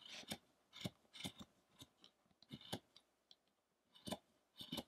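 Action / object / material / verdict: scrape / carved wooden statue / wood / none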